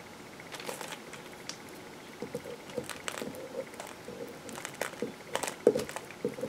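A metal knife slices and scrapes the rounded end of a solid green bar of soap, and soap flakes pile up on the paper beneath it. Quiet, crisp scraping and crackly cutting sounds come in short, uneven bursts over a faint steady hiss, growing a little louder and busier toward the end.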